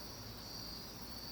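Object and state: Nothing is struck.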